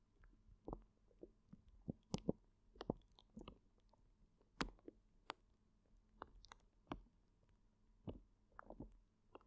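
A full, clear plastic zip bag of gel water beads is cradled in both hands while fingers press and knead it, making the beads squish. Quiet, wet squelches and soft crackles come in short, irregular bursts, with the crinkle of the plastic over a low, muffled body.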